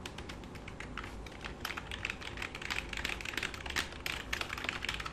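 Fingertips and short nails type and tap on the keys of a black full-size plastic computer keyboard resting on a lap, while a hand rubs across the keys. The result is a dense, steady run of quick, bright plastic clicks and clacks over a soft, continuous low rumble.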